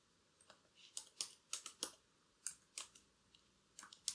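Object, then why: Plastic laptop keyboard keys. Long, curved black acrylic nails tap and type across the plastic keys of a laptop keyboard. Quiet, bright, clicky taps come in irregular bursts, each dying away almost instantly with no ring and no low end.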